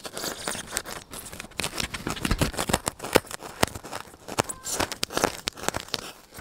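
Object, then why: Styrofoam block. A solid white styrofoam block held close to the microphone is poked and scratched with fingers and a needle. It gives a rapid, uneven series of squeaky, snipping-like crunches and bright scratchy bursts that stop sharply with almost no ring.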